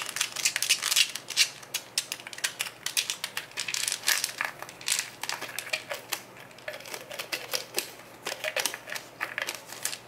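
Fingertips repeatedly twist and tap the yellow plastic cap of a small brown plastic Nature Made Iron pill bottle held in both hands. The result is a rapid, uneven stream of sharp, bright plastic clicks and ticks with brief scraping twists and almost no low end.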